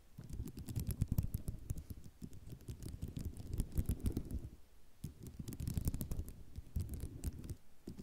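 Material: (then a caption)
Ceramic. Long nails tap and scratch across a flat sheet of small white ceramic mosaic tiles, producing a dense stream of quick, dry clicks and rattles. The taps have a soft, low body with occasional bright ticks. The activity runs in two busy stretches separated by a brief lull just after the midpoint.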